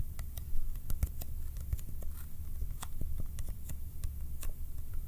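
A small, hollow Kodak ColorPlus cardboard film box is held in the left hand and tapped quickly with the right fingertips and nails. The result is a rapid, uneven patter of short, dry clicks with bright edges over a steady low hum, each tap dying away almost instantly.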